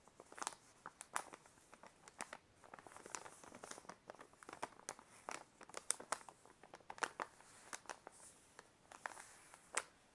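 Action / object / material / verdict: scrape / paper envelope / paper / none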